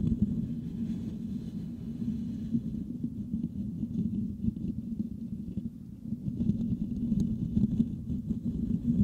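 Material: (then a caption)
Metal mesh. The hollow metal mesh grille of a Blue Yeti microphone is scratched with the fingertips and nails of both hands. The result is a dense, continuous rustling and scraping rumble concentrated in the low end around 200 Hz, with very little high content. It dips slightly in the middle and grows louder and busier toward the end.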